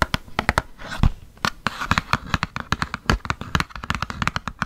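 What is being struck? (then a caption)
Small printed cardboard box holding glass nail polish bottles. A small printed cardboard nail polish gift box with nail polish bottles inside is handled, tapped and scratched with long painted nails. The result is a rapid, irregular series of short, dry taps and clicks with brief scratchy rustling between them, each tap dying away almost instantly.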